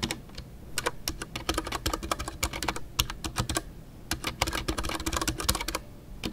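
A full-size Ducky One 2 mechanical keyboard with a white case, MX Brown switches and custom artisanal PBT plastic keycaps is typed on continuously with fingertips. Rapid, short keystrokes each combine a bright tick with a low, muted thock, over a soft low rumble. A brief lull near the middle comes before the typing picks up again.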